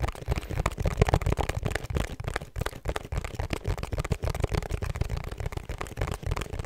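Long nails tap and scratch the faces and edges of a small, rigid, hollow pink cardboard perfume gift box with a black ribbon. The result is a dense, irregular stream of short, dull, bass-heavy clicks and knocks with brief scratchy bursts between them.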